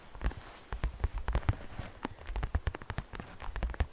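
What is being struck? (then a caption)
Glittery plastic basket. Long fingernails of both hands tap rapidly on the flat side wall of a hollow, transparent green glittery plastic basket with grass inside. The result is a fast, irregular run of dry, short taps, each with a soft low thump and a brief bright click that stops almost instantly.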